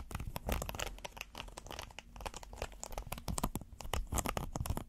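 A flat, flexible red silicone pot holder with a ribbed texture is held in the hands and scratched with fingernails. The result is a dense, continuous run of quick, dry scratching and crinkling strokes that rise and fall in loudness, with a soft low-frequency rumble underneath.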